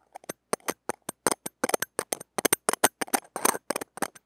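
Stainless steel tweezer tips scratch and tap the small hollow steel-mesh ball grille of a mini microphone held in the fingers. The result is a rapid, irregular series of short, dry, crackly clicks and scrapes with bright, hissy edges and almost no low end. Each burst dies away almost instantly.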